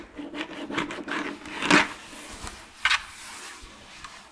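Long claw nails tap and scratch over the bottom and sides of an empty, orange, hollow plastic jack-o'-lantern candy bucket. Light, uneven clicks and raspy scrapes sound brittle and bright, with little low end and almost no ring. One fuller scratch stands out near the middle, followed later by a sharp double tap.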